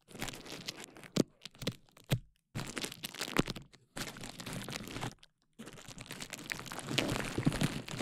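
A clear plastic bubble wrap sheet draped over a KU100 dummy-head microphone is squeezed, rubbed and popped by hands at the sides. Dense crinkling and rustling come in bursts, broken by short silences and punctuated by sharp, dry pops of bursting bubbles.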